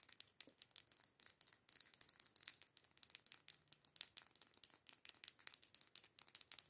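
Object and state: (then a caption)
Plastic liquid lipstick tube. Long nails tap and scratch the barrel of a small, filled plastic liquid lipstick tube with a pink cap. The result is a quiet, fast run of dozens of crisp, bright clicks and scratchy rasps that stop instantly, with almost no low end.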